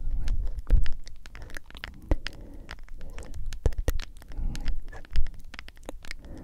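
Long acrylic nails tap and scratch the lid and sides of a medium, hollow plastic G Fuel powder tub held upright close to the microphone. Quick, dry clicks with almost no ring mix with crackly scratching over a heavy low-end rumble, with a few louder knocks standing out.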